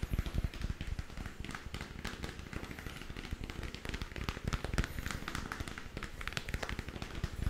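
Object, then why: Hollow textured plastic sphere lamp. A lit, hollow, spherical plastic moon lamp about 15 cm across with a textured surface is held in one hand and tapped with the fingertips of the other. The result is a steady stream of quick, irregular, soft taps with dull low thuds and a short, dry decay.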